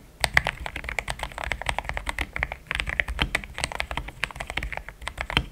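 Fingertips type in steady, rapid taps on a pink-framed compact mechanical keyboard with thick cream XDA plastic keycaps, a polycarbonate plate, linear switches and a hollow case. Each keystroke is a short, dry clack with a bright top around 2 kHz and a soft low thump underneath, dying away almost instantly.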